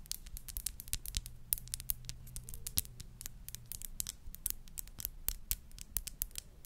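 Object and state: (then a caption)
Glass perfume bottle. Long nails tap and scratch a small, clear glass perfume bottle with a crown cap, held up in the air. Rapid, sharp, bright clicks with quick scraping strokes fall in an uneven rhythm over a faint, steady low hum, each tap dying away almost at once.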